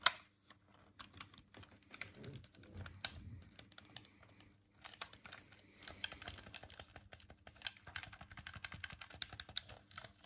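A hollow white plastic Dreamcast controller is held in both hands while thumbs click the D-pad and face buttons. The result is a quiet run of quick, dry, bright plastic clicks and taps, irregular in pace, with almost no ring after each one.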